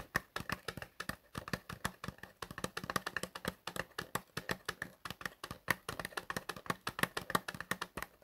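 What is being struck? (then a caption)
Small cardboard box. Fingertips tap on the surface of a small, light, hollow printed cardboard cream box (Travocort) held horizontally in both hands. Around fifty quick, dry taps come in an uneven, continuous patter over eight seconds. Each tap is short and hollow with a faint papery resonance near 1.9 kHz and dies away almost instantly.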